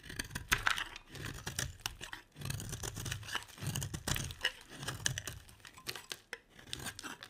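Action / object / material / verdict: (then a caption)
scrape / solid bar soap shaved with a metal blade / soap / none. A metal utility blade shaves a solid oval bar of cream soap, with a pile of shavings beside it. There are crisp, dry scraping and crackling strokes with a bright, papery edge, over a soft low rumble. The cuts come in quick, uneven bursts with short pauses between them.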